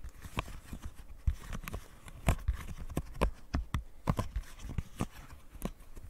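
A small, flat rainbow silicone pop-it fidget toy with hollow bubbles is held in the hands and tapped and scratched with long painted nails. The result is an irregular run of quick, dry taps, each with a soft low thump and a brief bright click, over a faint scratchy rustle. The taps die away almost instantly with no ring.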